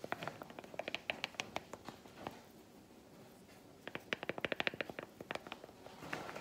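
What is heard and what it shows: A solid milk chocolate bar resting on a palm is tapped with a broken-off piece of chocolate, giving quick, dry, bright clicks around 2.5 kHz that stop almost instantly. A run of taps fills the first two seconds, a near-silent pause follows, then a denser burst of taps begins and ends in a short scratch.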